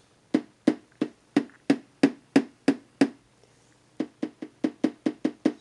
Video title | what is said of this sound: fishfinder sensor testing 2 | when I tap on it you hear the sound through the amplifier